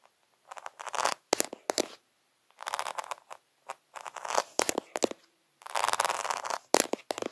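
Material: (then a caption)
Acrylic. Fingertips and nails scratch and tap fast across a flat sheet of rainbow-coloured acrylic rhinestones set on fabric, with the hand briefly passing close enough to blur the lens. Bursts of dry, crackly scratching alternate with sharp, clicky taps, bright and thin with no low end, separated by short silences.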